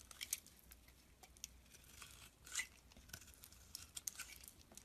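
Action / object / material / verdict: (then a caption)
scrape / soap bar shaved with a blade / soap / none. A utility blade shaves thin curls off the surface of a solid brown soap bar held in the palm. Quiet, crisp scraping and crackling strokes come as short, sharp bursts of bright, high hiss with almost no ring, over a faint low background.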